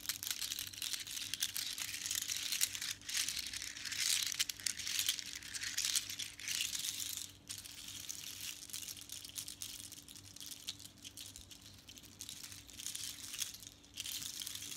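Long nails scratch, tap and rattle a necklace made of long strands of small hollow seashells with colored beads. The result is a dense, bright clatter of fast clicks and scrapes that grows softer after the midpoint before picking up again at the end.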